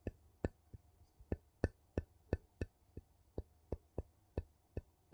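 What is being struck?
Metal lid on a small glass jar.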